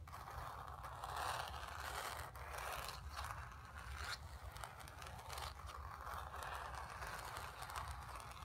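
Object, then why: Acrylic-painted stretched canvas on a wooden frame. Long nails scratch and rub across a square, acrylic-painted stretched canvas on a wooden frame, hollow behind and lying on carpet. A steady, dry rasping scrape centered in the midrange rises and falls in waves, with a bright hiss on top and a low rumble underneath.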